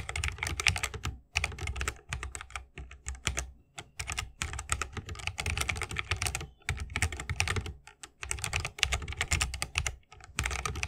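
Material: Bamboo, plastic.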